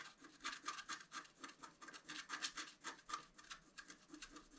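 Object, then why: Coated scratch-art paper card scratched with a wooden stylus. A pointed wooden stylus scratches a flat A4-size scratch-art card, black coating over a colored foil layer, resting on a table. A quick, uneven series of short, dry scratching strokes, about four per second, gives a bright, high rasp with almost no low end. The strokes stay soft and close.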